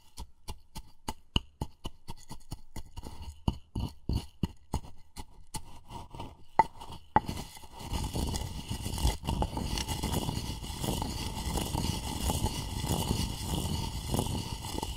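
A wooden pestle knocks and grinds inside a light, hollow wooden mortar that appears empty. For the first seven seconds there is a quick, uneven string of sharp, dry knocks with a faint woody ring, followed by a steady, rough grinding scrape that fills the rest of the clip.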